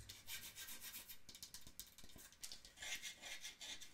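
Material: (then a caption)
Wood. Long nails tap and scratch the wooden sides of a small hollow wooden mantel clock, giving bright, raspy scratching broken by quick hollow taps. The clock is then lifted, and its base and feet are tapped.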